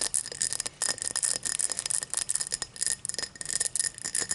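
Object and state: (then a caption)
Cut crystal glass. Long matte black nails tap and scratch the star-cut pattern of an empty, tall cut crystal tumbler lying on its side. The result is a quick, steady run of bright, crisp clicks and scrapes that stop almost instantly, with hardly any low end.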